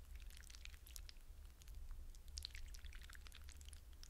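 Fingertips with short painted nails dig into and swirl many wet blue hydrogel water beads in a shallow clear glass bowl, rubbing and squishing them. A steady low rumble sits under a dense scatter of bright, wet clicks, pops and squelches. The clip stays quiet and continuous throughout.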